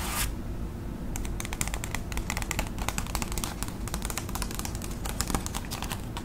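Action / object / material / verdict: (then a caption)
tap / paper envelope / paper / none. Long acrylic nails tap rapidly on a flat, thin white paper envelope held up close, giving dense, crisp, papery clicks with bright highs over a steady low hum. A brief broad rustle at the start gives way to a short lull before the fast tapping begins and continues to the end.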